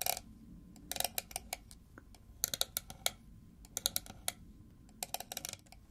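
A small pink hollow plastic Shopkins Lil' Secrets locket case with a silver plastic handle lies on black fabric, held steady by one hand while its front lid is tapped and scratched with a thin wooden bamboo skewer. Quick bursts of sharp, bright, dry clicks come in clusters, with very short decay and little low end. Quiet scratchy rustling and a faint steady tone sit underneath.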